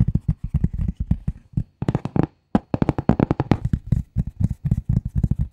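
A flat gray cardboard sheet is tapped quickly with the long nail tips of both hands, producing a rapid run of short, dry, low tapping thuds. The taps have almost no ring, with a brief silent pause midway before the flurry resumes.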